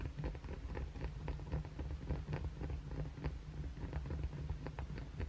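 A solid white oval Dove soap bar, hand-sized, is held above a towel while short fingernails scratch its face and edges, with blue fake nails resting on the towel below. The scratching comes as rapid, irregular, dry strokes over a steady low rumble, with no pauses between them.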